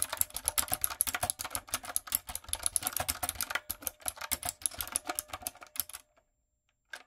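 A typewriter-style retro mechanical keyboard with round plastic keycaps is typed on continuously with fingertips and long nails. The result is a rapid stream of bright, sharp clicks. The typing stops near the six-second mark and is followed by silence and one last faint click.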